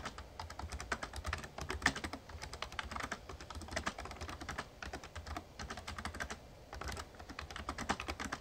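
Fingertips type steadily on a full-size, backlit plastic Razer Ornata Chroma mecha-membrane gaming keyboard. The result is a quick, continuous run of short, crisp clicks and soft clacks with almost no ring. A faint low rumble sits underneath throughout.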